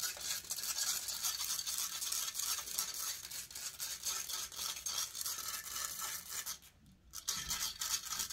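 Long painted nails scratch the hollow metal mesh grille of a large silver condenser microphone held in one hand. The result is a bright, hissy scratching in fast, uneven strokes of about three to four per second, with a brief drop-off near the seven-second mark before the scratching resumes.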